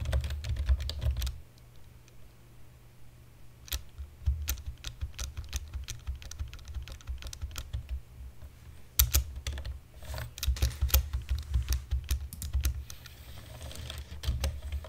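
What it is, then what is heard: Plastic computer keyboard. One hand taps the keys of a black plastic computer keyboard with fingertips and nails, making quick, sharp typing taps. The clicks come in uneven bursts with quieter pauses between them, over a steady low hum.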